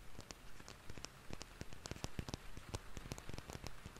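A palm-length red cylindrical plastic cosmetic bottle with a white cap is held in both hands and tapped rapidly with fingertips and nails. The quick, irregular taps make a soft, rain-like patter of short dry clicks with bright tips over a low, dull thump. The taps die away almost instantly.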